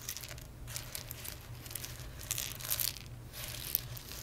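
Fingertips and medium-length nails rake, rub and scratch through a loose pile of small, hard, dry whole roasted coffee beans spread on a dark surface. The beans make a bright, dry crinkling and rattling that swells in waves, with a few sharper clicks as they shift. A steady low hum sits underneath.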